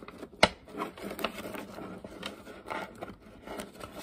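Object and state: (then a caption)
Deck of coated paper playing cards being riffled. A deck of UNO playing cards made of thin coated card stock is split into two halves, then riffled and bridged back together by hands with long painted nails above a wooden table. One sharp, bright card snap opens the clip, followed by a quieter stream of papery fluttering and soft ticking as the cards fall together.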